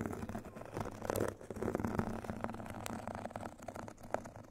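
A rectangular foot file, its white fine-grit side on a foam core, is scratched and tapped with two thin metal sticks. The result is a dense run of dry, gritty scratches mixed with quick, soft taps that have little ring, set against a low hum.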